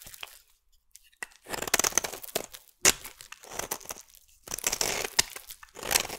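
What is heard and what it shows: A solid, hand-sized purple bar of soap held in the hand is scraped and shaved with a metal utility blade, sending curls falling off. Each stroke gives a bright, crisp, crinkly scraping rasp with almost no low end, and the strokes come in bursts of varying length separated by short quiet gaps.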